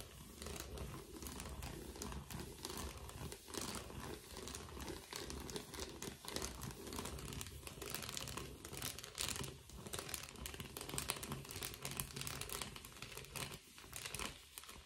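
An empty blue metallic foil bubble mailer is held and flexed while fingertips and nails scratch and crinkle its foil surface. The result is a steady stream of dense, bright crinkling and crackling with a soft low rustle underneath, lasting the whole clip with short dips.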